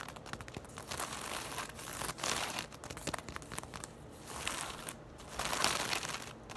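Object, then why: Woven straw tote bag. A braided straw tote bag lying on its side is scratched and tapped quickly with long nails across its straw weave. The result is a dry, crinkly, bright scratching texture with rapid taps, swelling into louder bursts and easing off several times.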